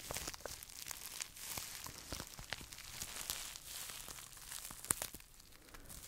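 A small, hollow, empty pink plastic bubble wrap pouch is crinkled and pressed with fingertips and scratched with short nails. The result is a quiet, continuous, bright crinkling and scratching, with many sharp little crackles and one louder snap near the end.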